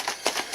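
A jar of heavy cream, shaken past the whipped-cream stage, sloshes in quick bright bursts with almost no low end. The liquid sound is audible because the cream has separated into butter and buttermilk.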